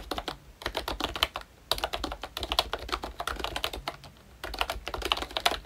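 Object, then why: Plastic membrane keyboard. Both hands tap the round black keycaps of a pink plastic ROYCHE Disney Mickey Mouse retro membrane keyboard with their fingertips while typing. The result is rapid, bright, clicky taps with very short decay, in bursts separated by brief pauses.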